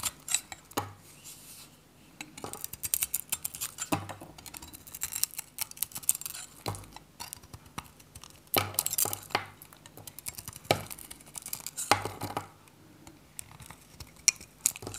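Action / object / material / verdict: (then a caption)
scrape / bar of soap cut with a metal blade / soap / none. A dry, varnished purple Godrej No.1 soap bar, solid and hand-sized, is held in one hand while its white interior is shaved with a metal snap-off utility knife. The blade scrapes and cuts flakes off in bursts of crisp, bright crackling and ticking. The sounds are quiet and dry, with almost no ring.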